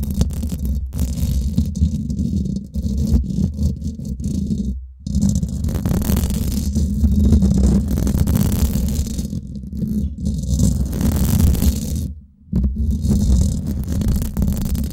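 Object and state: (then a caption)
Metal mesh microphone grille being scratched. Long nails grip and scratch the hollow domed steel mesh head of a Blue Yeti microphone, at fast and slow pace. The result is a dense, low, rumbling scratch with a rattly texture, broken by two brief near-silent pauses around the 5- and 12-second marks.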